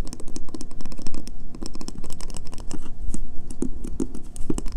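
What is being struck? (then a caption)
Bar of soap. Painted fingernails tap fast on the scratched, embossed face of a solid, pale green bar of soap held up close. The result is a rapid, continuous patter of short, dry clicks, mixed with faint scratching, each tap dying away quickly.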